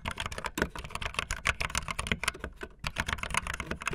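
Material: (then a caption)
Plastic. Fingertips with long nails type fast on a backlit optical linear mechanical keyboard with white and blue plastic keycaps. A rapid, steady stream of short, bright plastic clicks and clacks rings out with a faint low thump under each keystroke, briefly pausing near the three-second mark before resuming.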